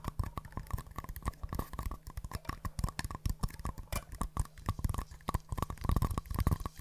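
Two small, empty, hollow green-and-white paper cups are held close to the mic, tapped with long nails and knocked together. They make a rapid, uneven stream of soft, dull, hollow clicks and knocks. Each tap is short and dry with no ring, and the sound is mostly low.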